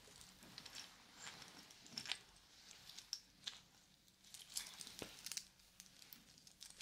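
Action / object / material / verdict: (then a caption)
shake / segmented wooden link watch band / wood / none. A small, solid, segmented wooden link watch band is held up and dangled between the hands, then shaken and worked with fingers, some wearing yellow plastic claw caps, so the links rattle against each other. The result is quiet, bright, irregular clicking and crinkly rattling with short sharp ticks that die away almost instantly and little low end.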